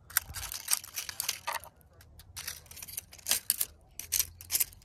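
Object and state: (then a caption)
Painted wooden wall siding. Very long, pointed artificial nails tap and scratch along the grain of flat, solid, brown-painted vertical wooden boards on an outdoor wall. The result is a quiet run of crisp, bright clicks and dry scraping bursts, separated by short pauses, over a faint low hum.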